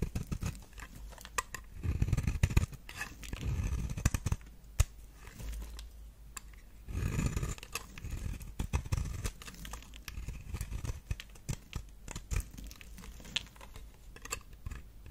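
A knife is drawn repeatedly across a solid round pink soap bar held in the fingers, peeling off flakes with each stroke. The scrapes come as dry, crackly crunches with a soft low thud, many short strokes in quick succession with brief pauses between bursts.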